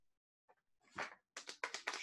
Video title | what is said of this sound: Easter Week Children's Devotions Day 4 Praying Hands | Sounds like there's something hard in there.